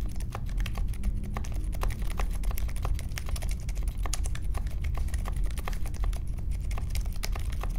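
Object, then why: Mechanical keyboard with metal case and plastic keycaps. Fingertips of both hands type continuously on a compact 60% Polaris mechanical keyboard with a grey metal case, white, mint and pink plastic keycaps and Silent Alpaca linear switches, resting on a marble desk. A steady stream of soft, muted, deep keystrokes patters along with very short decay and only faint high clicks on top.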